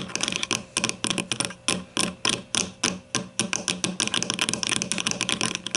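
Long nails on both hands tap on the top side of a grey plastic deodorant stick lying on its side with the bottom end toward the camera. The result is a rapid, irregular series of sharp, bright plastic clicks, each dying away quickly, with a hollow, hard tone.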